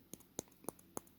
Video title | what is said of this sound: Paper Mache Apple Leaves for the Baby Paper Mache Ladybugs made in house at BlastofourPast | so i'm tapping on it and it's hard